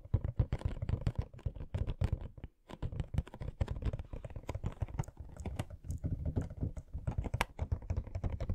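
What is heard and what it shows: A small, hollow cardboard Funko Pop box for Pennywise, no. 777, with a clear plastic front window and the figure inside, is held in both hands and turned to show different sides while fingertips and short nails tap on it. The result is a rapid, steady stream of soft, dull, hollow taps with a deep, boomy body and a brief bright click on some strikes. Each tap dies away almost at once, with a short pause near the middle.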